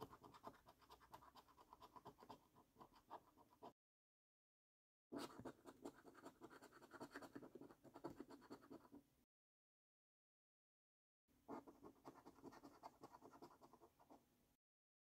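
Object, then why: Paper scratch card with latex coating. A coin edge scratches the latex coating of a £15 Luxury Lines National Lottery scratch card, a flat, thin cardboard card lying on a wooden table. Three bursts of rapid, repeated short strokes are separated by brief silences. The scraping is dry and papery, centred in the low-mid range with faint bright grit.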